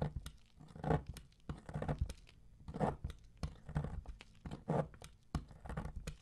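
A metal blade shaves thin strips from the edge of a solid dark bronze-colored bar of soap embossed "DURU," which is held by the fingertips. Each stroke gives a dry, crunchy scraping and tearing sound, weighted toward the low end, with sharp crackling flecks on top. The strokes come in uneven repeated swells, roughly one per second.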